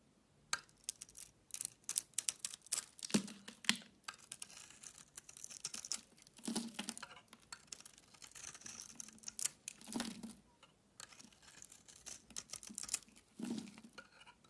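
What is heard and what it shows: A box cutter blade scrapes an oval Duru soap bar, solid and hand-sized, yellow and white outside with a pink layer inside. Quick, crisp scraping strokes come in bright, dry bursts of short clicks and rasps that stop almost instantly. A few longer, fuller shaves carry a soft low-mid body under the high hiss.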